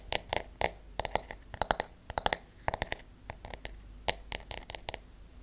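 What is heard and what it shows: A paddle hairbrush with a solid wooden back and wooden bristles is held in the hand while its back is tapped and scratched with long acrylic nails and natural nails. The result is an irregular run of quick, dry, bright clicks, some in rapid clusters, each dying away almost instantly, over a faint low hiss.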